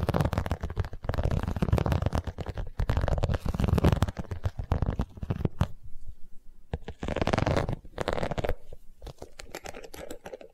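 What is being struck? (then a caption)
Vinyl cosmetic pouch. An iridescent holographic vinyl cosmetic pouch, held close to the microphone, is scratched and tapped with long nails. Dense bursts of scratchy, crinkling friction mix with quick clicking taps and a heavy low-end rumble. A brief quieter stretch of sparse taps comes midway before the scratching picks up again.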